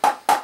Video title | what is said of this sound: Crosman 760 Pumpmaster - part 1 - unboxing - HD | this is a hollow stock